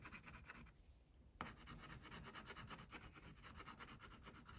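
An orange wax crayon held in the fingers is rubbed in short strokes across a tiger's face on a flat paper coloring page resting on a clipboard, while the other hand holds the sheet. A soft, steady, scratchy rasp of strokes is heard, with a brief quieter pause before the rubbing resumes.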